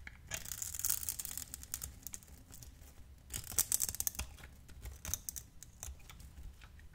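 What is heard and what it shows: A metal utility blade shaves small cubes from a hand-sized, hand-held bar of light green translucent glycerin soap scored in a grid. It makes quiet, crisp, bright scraping and crackling cuts with sharp little clicks. Louder bursts come near the start and again in the middle, each dying away at once.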